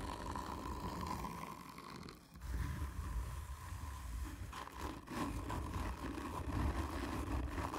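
Long painted nails on both hands scratch hard and slowly across a hollow, black textured cardboard whisky tube. The result is a continuous, low, booming rasp with a steady hum-like tone in the mids, briefly dropping away around two seconds before the rough scraping swells back in.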